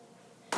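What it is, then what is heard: Baked-through king cake, hollow. A freshly baked, nicely browned king cake made of yeast dough, just out of the oven, is thumped once. It gives a short, hollow thud after a quiet lead-in, showing the cake is baked through and ready.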